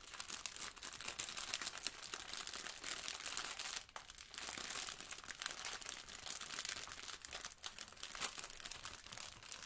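A blue sponge in a clear plastic wrapper, held flat in the lap with a plastic apron nearby, is rubbed and crinkled by yellow rubber-gloved fingers. The result is a steady, bright, dense crackle and rustle of crinkling plastic with almost no low end, easing briefly near the four-second mark before continuing.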